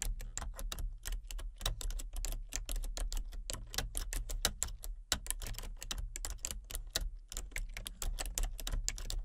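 Long-nailed fingertips tap steadily across a full-size plastic computer keyboard with color-changing backlit keys and a hollow body. Quick, sharp, bright clacks follow one another in a rapid, irregular rhythm, each dying away almost at once over a faint, constant low hum.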